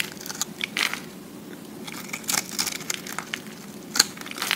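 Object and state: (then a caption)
Recycled soap disc being shaved. A utility-knife blade scrapes and shaves thick flakes from the face of a solid round slab of pressed green-and-white recycled soap held in the hand. Short, bright, crunchy crackling bursts come in irregular clusters over a faint steady hiss, each one dry and quickly gone, with almost no low end.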